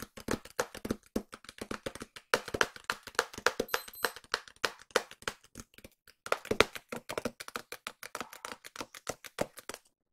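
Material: Cardboard.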